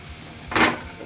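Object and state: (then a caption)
Hollow-sounding baked bread loaf. A single tap lands on the underside of a freshly baked loaf of white bread that has been turned over to check whether it is done. It gives a short, hollow, mid-pitched knock over faint background music. The hollow sound shows the bread is baked through.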